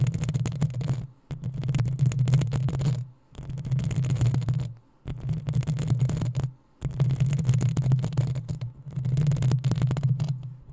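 Long acrylic nails on both hands scratch the hollow metal mesh head of a black desktop USB microphone in sustained bursts separated by brief pauses. Each burst is a dense, rough scratching with a heavy low rumble underneath and a bright, hissy texture on top.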